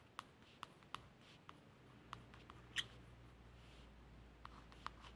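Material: Laminated cardboard.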